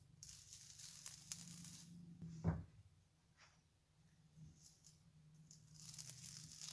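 A metal knife blade scrapes and peels strips off the edge and top of a large, round slab of soft, water-soaked mushy soap, white with teal streaks, lying on a countertop and held by both hands. Quiet, bright, tearing scrapes come in bursts over a steady low hum, with one sharper scrape standing out near the middle.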